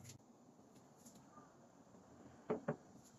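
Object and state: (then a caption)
Crisp, dry fried garlic slices. 20 g of garlic slices, fried and then dried in an air fryer, are handled against a quiet background, giving faint light rustles followed by two short, dry, crisp crackles near the end. The sound shows the slices are very crispy and dried through.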